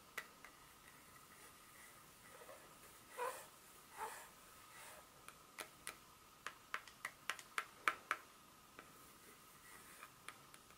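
A solid, flat dark chocolate bar is held in the hand while long pointed nails tap and scratch its back surface. About 17 sharp, dry clicks sound against a quiet background, speeding up and growing louder in the middle, with a couple of soft, brief scratches. Each click is bright and dies away almost instantly.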